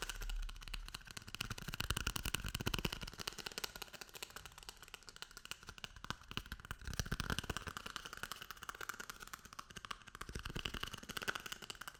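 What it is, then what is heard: Toilet paper roll tapped. A paper toilet roll is tapped and rubbed, giving a rapid, continuous run of soft, dry, papery taps and scratches. The sound is close and quiet, with a low thump alongside bright rustling, and it swells and fades in waves.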